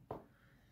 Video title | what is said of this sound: 🏃 Découvrir l’anatomie de vos chaussures de trail : chaque partie expliquée ! 👟 | un petit bruit ça montre bien que c'est assez solide